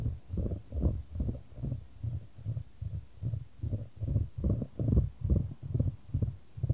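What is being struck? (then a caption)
Wooden ball in a wooden tray. A solid, light wooden ball rolls around a shallow square wooden tray held in white-gloved hands, which tilt the tray to keep it moving. The sound is a deep, soft rumbling rolling with a steady pulsing swell roughly twice a second, almost entirely low and dull with no bright clatter.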